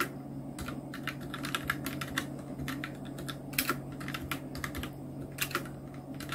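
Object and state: Plastic mechanical keyboard.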